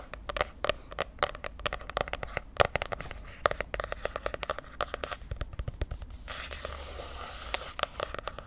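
Long painted nails tap and scratch the glossy, popsicle-pattern laminated cardboard cover of a medium spiral-bound notebook held in one hand. Rapid, irregular, sharp clicky taps with no ring run throughout, and a steady, brighter scratching hiss takes over for a stretch near the end before the taps return.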